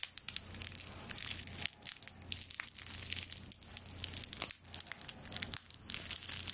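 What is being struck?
Bound bundle of dry straw broom stalks.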